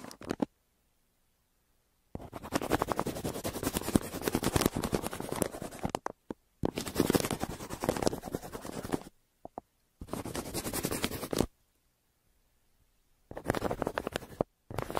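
A yellow wooden pencil held in the hand scratches and shades across a flat brown kraft paper mailer. Dense, gritty, rasping strokes come in several long bursts, separated by silent pauses and a few short isolated scratches.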